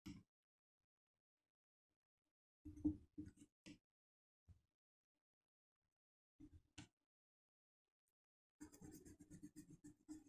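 A colored pencil held in the fingertips colors a flat sheet of black paper printed with a white mandala, lying on a wooden desk. Short, quiet bursts of scratchy pencil-lead strokes are separated by silent pauses, then become a denser run of rapid back-and-forth scratching at the end. The strokes have a low, dry rasp with faint bright edges.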